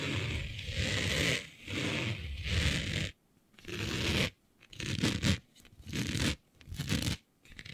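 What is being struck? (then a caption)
Smooth synthetic printed fabric. Long nails scratch across a smooth synthetic fabric with a planet print, laid flat. Rough, raspy scraping strokes carry a bright hiss over a low rumbling texture, coming in repeated bursts separated by short, near-silent pauses.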